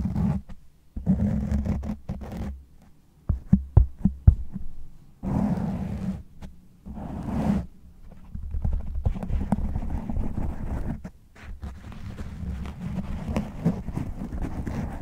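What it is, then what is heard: Foam microphone windscreen being scratched. Fingernails of both hands rapidly scratch and claw the top and sides of a black foam windscreen on a large condenser microphone. This makes bursts of deep, rumbling, roar-like scraping, broken by a few sharp thumps around the four-second mark. Brief pauses separate the bursts.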